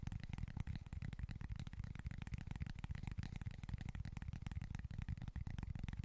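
Fingernails scratch across the surface of a small, flat cork board. The result is a quiet, continuous run of rapid, rough scratching strokes that is dull and heavy in the low end, with only a faint brighter rasp above it.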